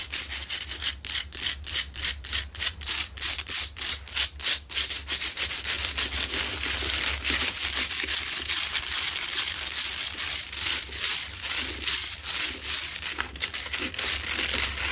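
A medium, lit pink Himalayan salt lamp, a solid rough-cut salt rock with a light inside, is held upright and scratched quickly with long pointed acrylic nails from both hands. Bright, gritty scraping strokes come in a rapid, uneven rhythm at first, then blur into a near-continuous dense hiss for the rest of the clip.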